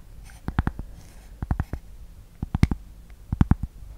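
Long painted nails tap and scratch a thin, solid, flat rectangular cork board or coaster held close to the microphone. Short, dry, muffled clicks come in quick clusters of three or four, with a faint scratch between them, over a quiet background.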